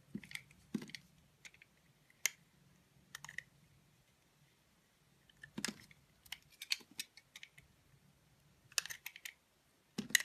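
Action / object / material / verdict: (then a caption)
scrape / bar of soap cut with a blade / soap / none. A utility knife blade slices and scrapes the black coating off a solid black-coated white bar of soap. Quiet, crisp, bright cutting clicks and scrapes come in short irregular bursts with near silence between them. Each crackle stops dead with no ring.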